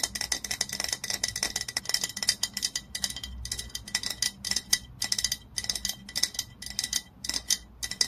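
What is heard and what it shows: Long nails rapidly tap the glass body of an olive oil bottle lying on its side. The result is a fast, uneven stream of sharp, bright clicks, each with a short, high glassy ring that dies almost at once, and very little low end.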